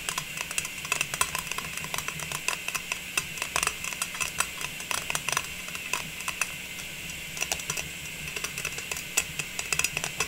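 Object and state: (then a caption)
Metal tin lid. Long pink nails tap rapidly and continuously on a round, printed metal tin lid held upright in both hands. The taps are light, bright, and clicky, with a faint steady low hum underneath.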